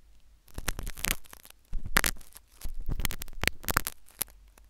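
A metal syringe needle scratches inside the ear canal of a solid, white, soft silicone ear replica on a binaural microphone. Bursts of close, crackling scraping and sharp, bright scratches rise over a low, steady hum, with brief quiet gaps between strokes.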